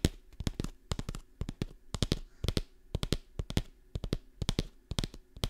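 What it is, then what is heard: Kraft paper pouch, crinkled and tapped. A medium kraft paper stand-up pouch with a label and a clear window, apparently partly filled with dried contents, is held in hand and scratched and crinkled with long painted nails close to the microphone. About thirty sharp, dry taps and crackles come in quick, irregular bursts, each snapping bright and dying almost instantly over a soft low papery rustle.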